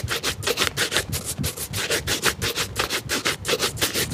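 A hollow, empty black leather shoe, held by hand, is brushed rapidly with a wooden-backed bristle shoe brush. The strokes come as a fast series of dry, bright, scratchy swishes with a faint low thump under some of them.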